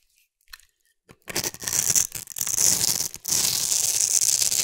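A solid pink rounded-rectangle bar of soap, held in the hand, is scraped with a metal blade that shaves off thin flakes. After a few faint ticks, a dense, bright, crisp scraping hiss begins and runs in long strokes, broken by brief pauses, to the end.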